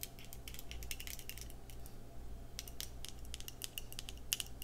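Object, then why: Small glass cosmetic jar with plastic lid. Long red acrylic nails tap and scratch the glass sides and pink-white plastic screw lid of a small, thick-walled, square clear glass skincare jar that is partly full of cream. A rapid, irregular run of short, bright clicks and ticks, centered around 3 kHz, rises over a steady low hum, with each tap dying away almost instantly.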